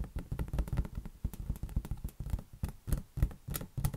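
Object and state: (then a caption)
Inflated rubber balloon. A large, hollow, air-filled green latex balloon is held against an open hand and patted quickly with the fingertips. This gives a steady run of soft, dull, low thumps that stop almost instantly with no ring.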